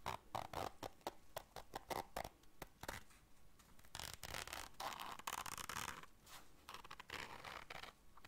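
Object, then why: Small fabric zipper case. Long dark nails scratch the fabric of a small round black fabric zipper case held in the hands and work its zipper. The result is a quiet run of rapid, dry scratching strokes and a few longer zipping rasps, bright and brushy, with a faint tone near 1.1 kHz.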